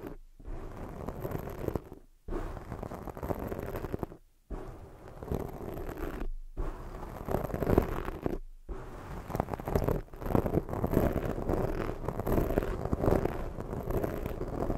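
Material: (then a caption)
Foam. Long studded fake nails scratch the sides of a soft, porous black foam microphone windscreen. They make dense, muffled scratching and rubbing bursts that sit mostly in the low and middle range and are broken by several brief silent pauses. The scratching grows somewhat louder and busier toward the end.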